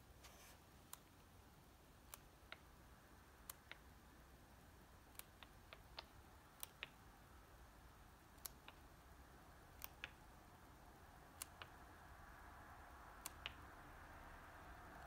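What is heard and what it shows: Fingers flick and flip through a small stack of thin paper pages of a softcover paper comic book held open on a table. About twenty short, sharp ticks with bright edges sound over a quiet, steady low hiss that swells slightly toward the end.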